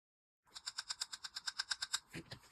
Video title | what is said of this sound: Low Odor Dip Liquid Demo - NEW from Kande Dips | you'll hear it when it actually goes cured because it will have more of like hard tap sound